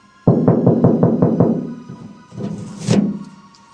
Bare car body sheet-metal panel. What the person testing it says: pretty tinny sound pretty thin